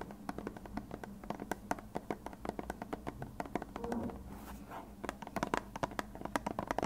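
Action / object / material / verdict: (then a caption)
tap / plastic glue bottle / plastic / none. A hand-sized, hollow white plastic glue bottle with a blue nozzle is tapped and scratched with fingertips and nails. Quick, dry clicks come in a rapid, uneven series, with a brief stretch of soft scratching midway. Each tap dies away almost at once.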